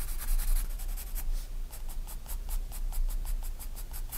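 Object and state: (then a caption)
Pencil strokes on a paper sketchbook page. A graphite pencil draws light strokes across a spiral-bound paper sketchbook page, giving a steady run of short, bright scratching bursts. A faint low rumble sits underneath throughout.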